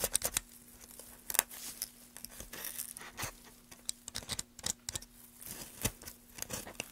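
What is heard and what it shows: A gloved hand cuts and scrapes the edge of a solid, light wooden block held at an angle, using a carving tool. Quiet, bright, crisp snips and short rasping scrapes come in irregular bursts, each dying away almost instantly, over a faint steady low hum.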